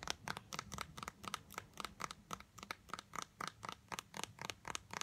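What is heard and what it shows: Long light-blue acrylic nails tap and scratch fast on a small blue translucent squeezable plastic tube of Disney Resorts body lotion, filled with lotion and held in the hands. About twenty quick, bright clicking taps with a scratchy edge come in a loose, uneven rhythm, each dying away almost instantly.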